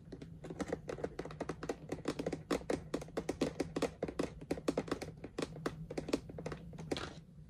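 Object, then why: Clear plastic storage bin. A medium clear plastic storage box with rhinestone "Spooky Sparkles" stickers, full of ribbon spools and with no lid, is tapped quickly with fingertips and long nails through knitted fingerless gloves. The quiet, dry, clicky taps come in a rapid, uneven stream and stop almost instantly, over a steady low hum, ending with a brief brushing sound.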